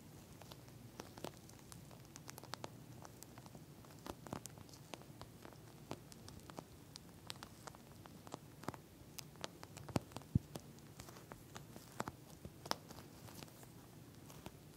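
Long nails scratch and tap the surface of a pink plastic eye mask filled with gel beads. The result is a quiet, irregular patter of short, crisp clicks and scratchy rustles, sharp and bright at the top, over a soft, steady low background murmur.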